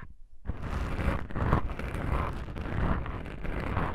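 Long pink nails scratch black foam microphone windscreens. After a brief near-silence, a steady, close, muffled rustling and scraping begins, heavy in the low end with little brightness, swelling and easing in soft waves until the end.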